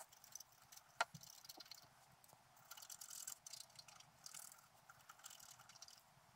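A wooden stylus scratches the coating of a flat black coated scratch-art paper sheet resting on a table. Quiet, bright, hissy scraping strokes come and go in bursts, with one sharp tick near the start. Denser scratching swells in the middle and toward the end.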